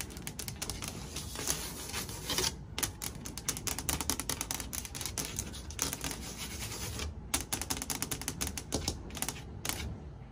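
Long white nails tap quickly on the flat surface of a large, solid, fixed white painted interior door panel of wood or MDF, next to its trim. A dense, rapid stream of short, sharp clicks with bright, crisp tops rides over a low, dull body, each tap dying away almost instantly.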